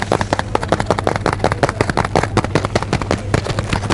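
A full blue cardboard box of tea, held close to the ear, is tapped or scratched with fingernails. The result is a rapid, uneven series of short, dry clicks and scratches over a steady low hum.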